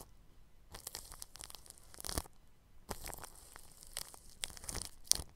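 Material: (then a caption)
Plastic film. A bristle paintbrush brushes across the grille of a round microphone wrapped in clear, stretched plastic cling film. It makes dry, crinkly, scratching strokes that are bright and close. The strokes come in two runs separated by a brief quiet gap, with a sharp crackle near the end.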